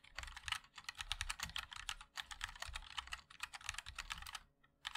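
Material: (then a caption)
Plastic. Fingertips of both hands type continuously on a compact 60% MOD-L mechanical keyboard with a black case, white and black plastic keycaps, and linear switches. The result is a dense stream of short, bright plastic clacks with very little ring and a soft low thump beneath them. The typing breaks only for a few brief pauses, including a short gap near the end before it resumes.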